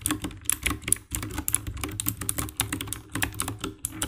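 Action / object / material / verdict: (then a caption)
tap / plastic mechanical keyboard / plastic / none. Fingertips and nails type rapidly on the keycaps of a compact 60% black plastic mechanical keyboard with RGB backlight. The result is a dense run of sharp, bright key clicks over a low thocky body, with each press dying away almost instantly.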